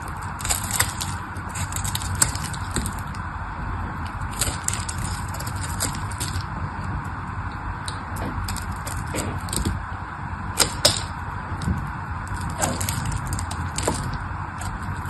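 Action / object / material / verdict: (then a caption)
scrape / bar of soap / soap / none. A solid pink bar of dry soap is sliced and scraped with a craft knife, cracking off pieces. Sharp, bright cracks and crisp scraping snaps come in clusters over a steady low rumble. The crunchy bursts peak around the middle and near the end.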